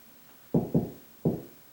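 Three knuckle knocks on a drywall ceiling between the joists give dull, hollow thuds with low tone around 160 Hz and short decay. The spot sounds hollow, meaning no joist is behind it.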